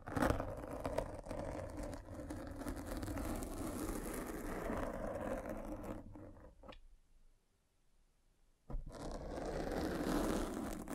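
A metal-spiked derma roller is rolled over the black foam windscreen of a microphone, making a continuous dense crackling scrape with a low rumble. The rolling pauses into near-silence around 7 to 8.7 seconds, then resumes.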